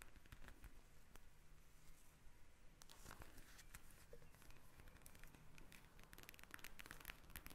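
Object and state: Plastic gel bead eye mask.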